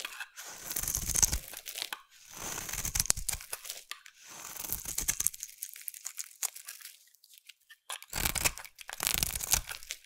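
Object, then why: Bar of soap cut with a blade. A utility knife blade carves curls from a solid orange bar of soap held in the hand. Each cut makes a crisp, dry scraping and crunching sound with a bright, hissy edge, separated by brief pauses.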